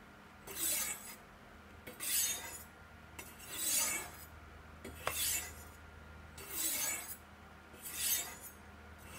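A large steel chef's knife is drawn down along two solid white triangular ceramic rods set in a V in a black plastic Sharpmaker base with brass safety rods, while another knife lies nearby. The clip has six separate bright, hissing scrapes of steel on ceramic, each lasting about half a second with short quiet gaps between them. Faint ticks mark the start of some strokes.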